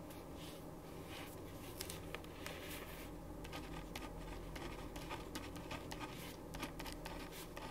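A ballpoint pen writes on a thin printed paper sheet lying flat on a wooden desk. It makes soft, continuous scratching strokes with brief brighter scrapes, over a steady low background hum.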